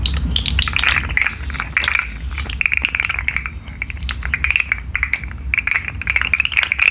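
A rainbow articulated plastic fidget slug is shaken and flexed by hand so its segments click. Dense bursts of short, bright clicking and rattling come and go over a steady low rumble.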